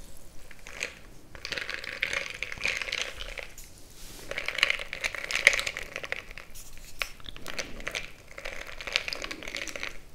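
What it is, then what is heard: Glass mug of crushed ice being stirred. A bamboo stick is plunged into a frosted glass mason-jar mug full of crushed ice and stirred, crushing the ice against the glass. Bright, dense crunching and crackling come in waves, with sharp little clicks and glassy ticks and almost no ring after each one.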